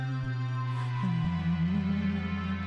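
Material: Nothing is struck.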